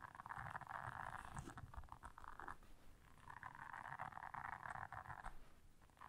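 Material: Silicone.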